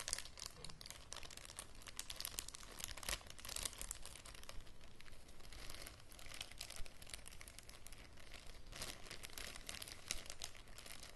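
Fingers and nails crinkle and rub a thin, transparent plastic bag with a small green item inside. A quiet, continuous crisp crackling fills the whole clip, with dense sharp bright rustles that never stop.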